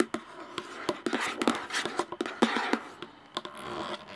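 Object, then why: Plastic jar lid. Long nails tap the top and rim of the plastic lid on a hollow, clear plastic jar while one hand holds the jar. Quick, irregular clicky taps land over a low hollow tone, with soft scratchy rustle between them. Each tap dies away within a fraction of a second.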